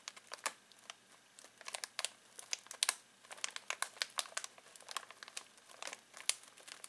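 Fingertips scratch and crinkle a full foil-plastic snack bag of pistachios, giving a quick series of sharp, dry crackles. The sound is bright and crisp with almost no low end, and each crinkle stops almost instantly.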